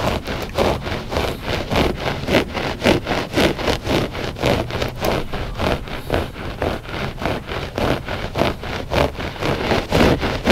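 Short fingernails scratch the pile of a flat gray loop-pile textile rug, solid and soft, in quick back-and-forth strokes. Each stroke makes a dry, rough rasping brush with a low rumble under it, repeating at a fairly steady, slightly uneven pace at an even loudness.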